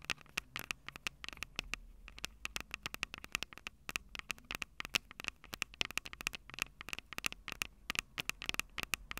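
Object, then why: Handheld audio recorder with metal-grilled microphone capsules. Long acrylic nails tap rapidly and irregularly on the metal-grilled microphone capsules of a small, hollow, plastic-bodied Tascam DR-05 handheld recorder. Each tap is a sharp, dry, bright click that peaks around 2.8 kHz and dies almost instantly, with faint low rumble and hiss underneath.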